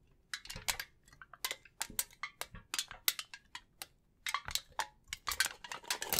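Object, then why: Thin aluminium foil sheet. A thin, crumpled sheet of silver aluminium foil is held in both hands in front of a microphone while fingertips crinkle and rub it. The result is irregular bursts of bright, dry crackling that stop almost instantly, with a brief quiet pause partway through.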